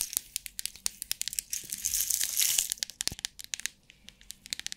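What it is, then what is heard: Clear plastic compartment box with rhinestones. Long nails tap, squeeze and shake a clear plastic box of rhinestone compartments held in the hands, making about thirty quick, bright, dry clicks with almost no low end. Midway, a denser crinkling rattle swells for about a second before the sharp taps return.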